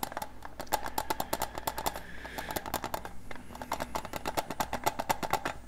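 A small, flat, rectangular hollow metal tin with a grey lid and silver edges, held in both hands close to the microphone, is tapped rapidly with fingertips and nails. A steady run of light, quick-decaying metallic clicks carries a faint hollow ring around 870 Hz, over a soft low hum.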